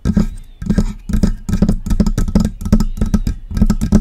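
Long press-on nails tap and scratch the upper body of a hollow silver metal USB desktop microphone near its knobs. The result is a steady run of quick, close knocks with a hollow, low resonant thump and faint bright clicky nail ticks that die away almost at once.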